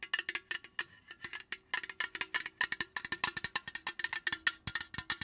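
A tall, slim, printed aluminum beverage can, unopened and likely full, is held in the hand and tapped and scratched with long, pointed acrylic nails. About 35 quick, bright clicks come in an uneven, rapid rhythm, each with a brief high metallic ping near 1.8 kHz that dies away almost at once. Faint scratchy sounds fill the gaps between taps.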